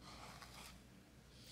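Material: Nothing is struck.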